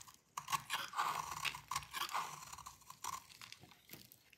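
A solid rectangular bar of dry orange soap, held in the hand, is shaved with a metal utility blade. Quick, crisp scraping crunches come in uneven bursts with a bright, dry texture, and crumbly gratings fall off the bar.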